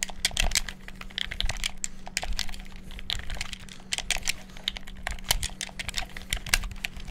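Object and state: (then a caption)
Plastic game controller buttons. A black hollow plastic gamepad is held over the mic while fingertips bash its buttons rapidly. The result is a dense stream of sharp, bright plastic clicks over a faint steady low hum.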